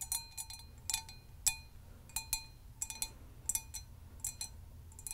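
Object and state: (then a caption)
Hammered copper mug tapped with nails. Long nails tap and lightly scratch the dimpled surface of a hollow, empty hammered copper mug held in both hands. The result is an irregular run of bright, metallic clicks, each with a brief ringing tone, over a faint low rumble.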